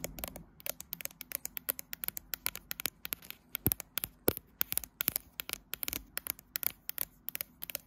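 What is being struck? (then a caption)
Smartphone with glass back and metal frame. Long nails tap and scratch the right side of a smartphone's matte glass back and its metal frame edge while the phone is held in a tripod clamp. About 47 sharp, quiet clicks come in an uneven stream, each dying away almost at once, with brief scratchy scrapes between them.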